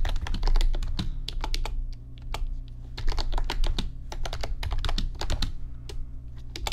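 Fingertips type steadily on the plastic keys of an RGB backlit computer keyboard, producing a rapid run of sharp, bright clicks. A constant low hum sits underneath the tapping throughout.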